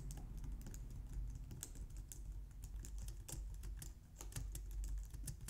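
A low-profile white/light-grey plastic wireless keyboard resting on a glitter mat on a wooden desk is typed on with long painted nails and fingertips. Quick, light, bright clicky taps come in an irregular stream over a steady low hum, and each tap dies away almost at once.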